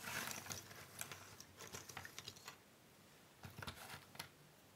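Flat hands and long-nailed fingertips slide and shuffle a loose pile of small, thin cardboard jigsaw puzzle pieces on a wooden table. The result is a quiet, dry, bright rustle with quick clicks and scrapes. The sound pauses to near silence for under a second before a final burst of shuffling.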